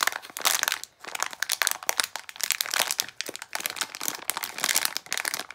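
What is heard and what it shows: A small plastic foil Disney d-Licious figure blind bag is crumpled and rubbed with fingertips and long nails while held over a counter. It makes dense, bright crinkling and crackling that comes in bursts with brief quiet dips between handfuls.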